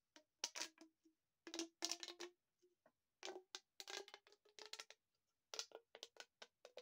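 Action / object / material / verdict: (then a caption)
scrape / corrugated plastic tube / plastic / none. A long, hollow, empty green corrugated plastic pop tube is held in both hands, bent into an arc, then compressed and stretched so its ribs pop and click. Quick bursts of bright, crackly clicks come in uneven clusters separated by brief silences, some carrying a faint hollow tone. Each pop dies away almost instantly.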